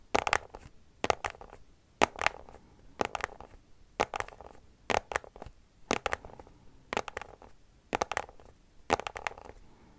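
Long nails scratch a small white cardboard product box in quick bursts of two or three strokes, repeating about once a second. Each stroke is a dry, bright rasp with a papery midrange and almost no ring, fading quickly into soft rustling between bursts.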